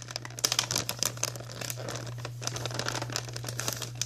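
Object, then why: Plastic cookie bag. A white plastic Archway cookie bag is gripped with both hands while fingertips and long nails squeeze and scratch it. The result is dense, bright crinkling and crackling with sharp snaps over a steady low hum.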